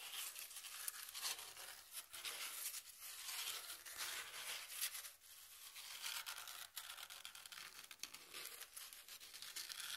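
Long nails scratch along the exposed corrugated edge of a brown corrugated cardboard piece held edge-on. The result is a continuous, bright, raspy scraping with rapid ridged textures, almost entirely in the high range and at a soft level, rising and falling in short strokes over ten seconds.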